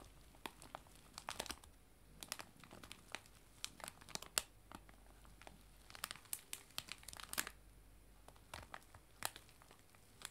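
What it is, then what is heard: Cellophane bag of loose tea. A clear cellophane bag of dried loose tea, lying flat on a table, is pressed, rubbed and scratched with fingertips and long nails. Quiet, bright crinkling is broken by many short, sharp crackles and snaps spread across the clip, each stopping almost instantly over a faint low background hum.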